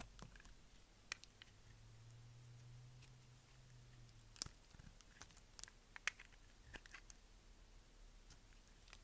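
A utility knife blade scrapes and cuts the edge of a brown, translucent bar of dry soap held in the hand. Sharp, bright clicks and crisp crunching scrapes come at an irregular pace over a quiet background, with a faint low hum in the first half.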